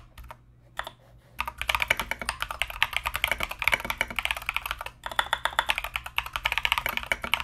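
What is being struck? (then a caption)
Mechanical keyboard with plastic keycaps. Both hands type continuously with their fingertips on a compact mechanical keyboard with Mozano EVE switches and Knight King plastic SA keycaps. After a few sparse keystrokes, a fast, steady run of short, bright, clacky key hits follows, with a brief pause near the five-second mark. Each keystroke dies away almost instantly, with very little low-end thump.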